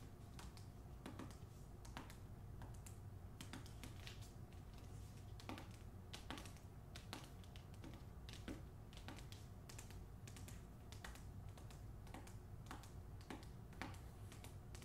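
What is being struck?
Hardcover book with glossy paper dust jacket.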